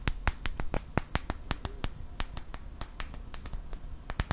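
Fingertips and nails tap and click a small wooden clothespin, likely with a metal spring, held in both hands close to the mic. A quick, uneven series of sharp, dry, snap-like clicks with a bright top end stops instantly with no ring, over a faint low rumble.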